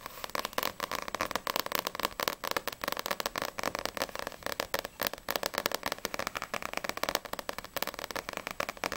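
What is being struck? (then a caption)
Paperback book with glossy paper cover. Long acrylic nails tap rapidly on the front cover and edges of a small, solid No.6 paperback manga with a glossy paper cover. About 46 quick, dry clicks land in a steady stream with almost no low end. Each is crisp and bright in the mids and dies away instantly.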